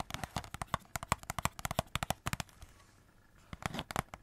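A hollow cardboard Christmas cracker wrapped in glitter paper and silver foil, with purple glitter ends and a silver middle, is rapidly tapped and scratched with long red nails. Quick, dry, crackly taps with a hollow ring around 1.1 kHz run for about two and a half seconds, give way to a quiet scratchy stretch, and then return in a final short burst.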